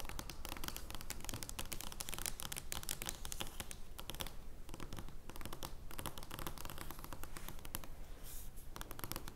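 Long nails scratch across an oversized joker playing card made of thin card stock, lying flat on a wooden table. The result is a dense, irregular stream of quick, dry, crackly scratches with bright papery edges over a steady low rumble.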